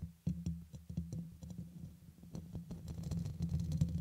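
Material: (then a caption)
Metal mesh. Fingertips and medium-long nails scratch and tap across the hollow, dome-shaped black metal mesh grille on top of a red USB microphone. The result is a rapid, uneven run of dull, boomy thumps and soft scrapes that die away almost at once. A steady low hum sits under the taps, and nearly all the sound stays in the low range.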